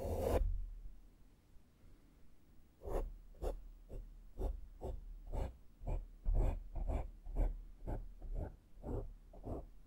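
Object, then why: Foam microphone windscreen. A small flat makeup brush sweeps against the sides of a black foam microphone windscreen. A short broad burst of rustle opens the clip, followed by a quiet pause. Then come soft, low, muffled scratchy strokes at about two per second in a loose, uneven rhythm.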